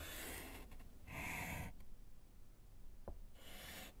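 A gloved hand writes with pink chalk on a small, flat, solid slate chalkboard set in a wooden frame. Bright, scratchy chalk rubs come in separate strokes with short pauses between them, and a brief faint tap falls in the last gap before the final stroke, all over a low rumbling background.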